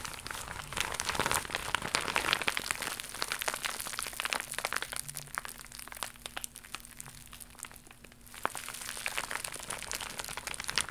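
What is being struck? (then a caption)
Plastic mailer pouch. An iridescent, embossed holographic plastic mailer pouch is crumpled by hands and scratched with long nails, making dense, bright crinkling full of sharp crackles and clicks. The crinkling eases into a quieter, sparser stretch partway through before building back up, with a faint steady low hum underneath.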